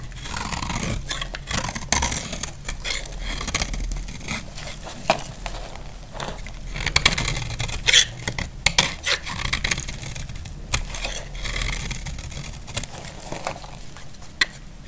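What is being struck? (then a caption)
Bar of soap scraped with a blade. A utility blade scrapes shavings from the edge of a solid, dry pink bar of soap. Continuous dry, crisp scraping runs throughout, with many short, bright clicks and ticks breaking through over a low rumble.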